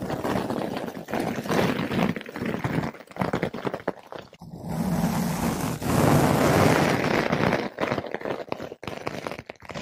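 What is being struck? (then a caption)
Foam microphone windscreen brushed with a flat synthetic brush. A flat paintbrush with blue synthetic bristles brushes a large, soft, porous yellow-pink foam ball windscreen fitted over a microphone. It makes dense, close-up scratchy rustling, mostly in the low and middle range, in uneven bursts with brief gaps. Midway it smooths into a steadier, fuller swishing stretch before the choppier strokes return.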